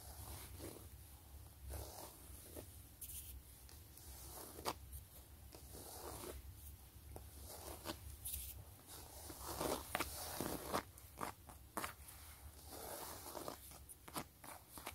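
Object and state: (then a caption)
Faux leather wallet being scratched and tapped. Long glittery nails and fingertips scratch and tap across the stitched ridges of a long, flat, closed gray quilted wallet with a pebbled faux-leather surface. Soft, dry scratching runs throughout, broken by about a dozen quiet, sharp taps with short, crisp decays over a faint low hum.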